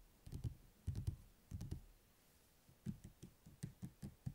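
Fingertips and nails tap the glossy cover of a thick, closed paperback book lying on a table, with the hands resting beside it at times. Soft, dull, low-pitched taps come in quick, uneven bursts separated by short pauses, each tap dying away almost instantly.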